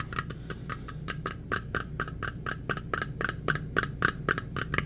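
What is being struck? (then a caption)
Small round metal tin. Fingertips tap quickly on the lid and side of a small round metal tin with a printed lid. About 23 short, bright clicks ring briefly near 1.5 kHz at an uneven, fast pace over a low steady hum.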